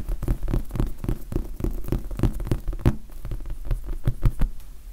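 A large red foam sponge die is scratched and tapped with the fingertips. A quick, steady series of soft, dull taps lands over a faint scratching, each tap a low, muffled thud that dies away almost at once.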